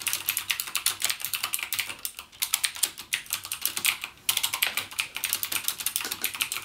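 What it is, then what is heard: Plastic mechanical keyboard. Fingertips type rapidly on a backlit plastic mechanical gaming keyboard with clicky Cherry MX Blue switches. A fast, steady stream of sharp, bright clicks with almost no low end pauses briefly around the four-second mark, then resumes at the same pace.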